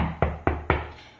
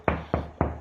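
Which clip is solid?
The first.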